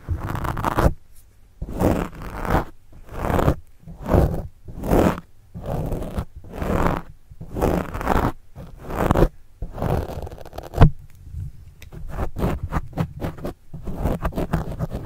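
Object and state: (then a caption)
Pen scratching a foam microphone windscreen. A pen tip scratches and writes across a black foam windscreen on a microphone, making close, muffled, low-heavy scraping strokes. Slower separate bursts fill the first ten seconds, then the strokes turn faster, shorter and rapid.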